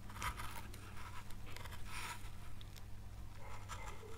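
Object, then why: Pale wood carving board scraped by a gouge. A gouge scrapes along the edge of a carved oak leaf on a small, solid, pale wood carving board, making short, quiet bursts of dry, bright scraping and crunching. A steady low hum sits underneath the whole clip.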